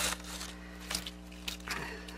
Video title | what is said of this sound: In the Studio - 3rd Decanting of DIY Alcohol Ink From Plants | listen how crispy they are